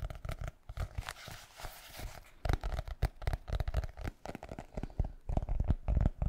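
Fingertips and nails tap and scratch the cover of a solid black hardcover notebook, roughly A5 size. Quick, dull, bass-heavy taps come in irregular runs, with a longer stretch of dry scratching about a second and a half in.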